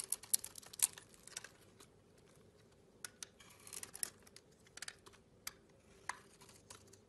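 A metal blade scrapes and shaves a hand-sized, solid green and pink bar of soap. Quiet, crisp, bright scratching ticks and short rasping strokes come in irregular bursts with a brief pause midway, each sound dying away almost instantly over a faint steady hum.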